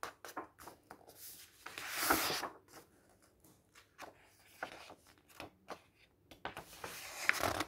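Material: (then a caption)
Paper. Fingers grip the edges of the cream paper pages in a thick, open bird illustration guide book and turn them, rubbing the paper. The result is an irregular series of soft, dry rustles and crisp flicks, with a louder, bright swish of a sliding page near the middle and again toward the end.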